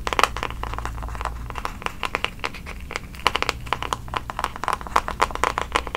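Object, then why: Plastic paddle hairbrush with plastic bristles. A handheld pink plastic paddle hairbrush with plastic bristles has fingertips and nails scratching across its bristles, then tapping and scratching its smooth pink back. The result is a dense run of sharp, dry clicks and crinkly scratches centered around 1.2 kHz with bright edges, over a faint low hum.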